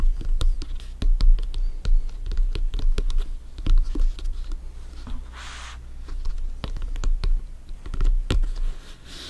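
Bare fingertips and short nails tap and scratch the top of a full-size, inflated, hollow soccer ball with stitched synthetic leather panels. Quick, dull taps land with a low, hollow thump that dies almost at once. A brief, brighter scratching rasp sounds about midway through.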